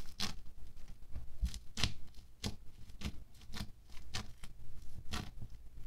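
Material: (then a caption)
Foam beads. A wooden stick pokes down again and again into a thin orange bead foam clay sheet resting on a white table. Each poke gives a short, crisp crackling crunch with bright clicking and a soft low thump, about eight distinct pokes in all, with quieter rustling between them.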